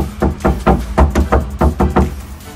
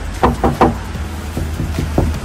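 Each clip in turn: First: undamped steel car roof panel, loud. Second: car roof panel with sound deadener, damped.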